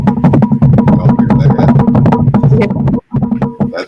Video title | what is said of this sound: TALKING WITH BONNIE OPEN CHAT | That was more like Ricky Ricardo than me, but Bongo drums, yep.